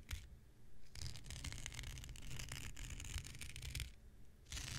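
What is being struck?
Synthetic fiber scouring pad.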